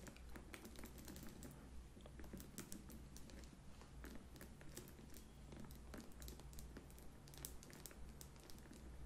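A small, hollow, pale pink textured faux leather crossbody bag with a chain strap is held up and tapped quickly with long nails. The result is a dense run of light, bright, clicky taps over a steady low hum.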